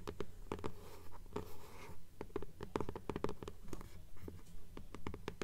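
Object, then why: Hardcover book with paper dust jacket. Long nails scratch and tick against the paper dust jacket of a hardcover "Fairies" book held upright in both hands. Quick, fairly steady clicks with a hollow, low body are heard, with a soft brushing scrape in between. The sound is dry and close, with each click dying away almost at once.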